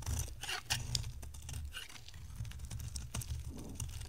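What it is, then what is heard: Dry bar soap being shaved. An oval, solid orange bar of dry soap, held in the hand, is shaved into strands with a box-cutter blade. Dry, crisp scraping and crunching strokes crackle with a bright, high edge over a steady low rumble, with no ringing after each cut.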